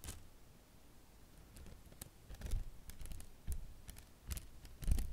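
A silicone basting (pastry) brush with soft grey silicone bristles and a wooden handle is held in one hand while fingertips pluck and flick the bristles close to the microphone. The result is a series of quiet, irregular, soft thuds and flicks with low, muffled bodies and brief bright ticks that die away almost at once.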